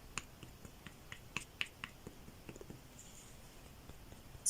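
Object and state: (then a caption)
Crocheted shoe with a stiff insole inside. Light taps on the stiff insole inside an amigurumi ant's crocheted yarn shoe give a series of quiet, sharp, bright clicks with almost no ring. They sound different from plain yarn, showing that a stiff insole was added so the leg can stand upright.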